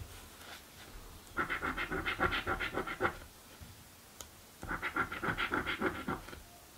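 A coin scratches the coated areas of a blue paper scratch lottery ticket in two bursts of rapid, rhythmic rasping strokes, separated by a brief pause. The scraping is dry and gritty, centered in the midrange around 1.4 kHz with bright upper edges, against a quiet background.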